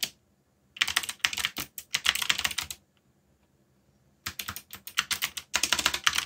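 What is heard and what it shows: Fingertips type on the plastic keycaps of a black backlit mechanical keyboard, making rapid bright, clicky keystrokes with very short decay. A burst of typing is followed by a brief silent pause, and then the typing resumes and continues to the end.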